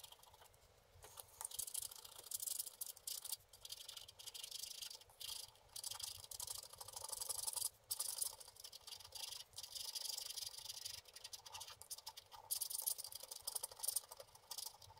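A wooden stick scratches the coating off the purple sky area of a flat, wax-coated scratch art card in repeated strokes. The result is dry, bright, hissing scratches in short bursts separated by brief pauses, with almost no low end.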